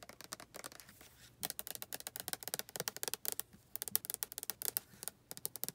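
Long nails tap rapidly on a white plastic body lotion bottle that appears full, striking both the plastic and its label. The result is a quick, uneven run of dry, bright clicks with almost no ring, separated by soft rustling pauses at a quiet level.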